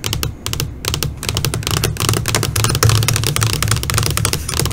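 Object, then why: LCD computer monitor screen. Long fingernails tap rapidly on a flat black LCD computer monitor screen, first with one hand and then with both hands. The result is a dense, uneven stream of short, bright clicks over a steady low hum.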